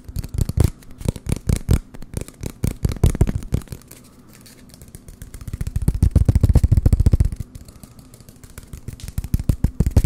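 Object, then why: Cardboard toilet paper roll. An empty, hollow brown cardboard toilet paper roll is held near the microphones and tapped and scratched with fingertips. Fast, uneven bursts of dull, low, hollow thumps come with soft scratching. The tapping eases into brief quieter stretches around four and eight seconds before picking up again.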